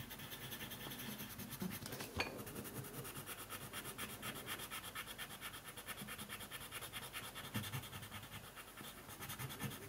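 Fingertips hold a green colored pencil and quickly rub and scratch its lead across a thin white paper coloring sheet lying flat on a wooden table. The result is a steady, quiet, bright scratching hiss with a fast rhythmic stroke pattern and a slightly sharper tick near the two-second mark.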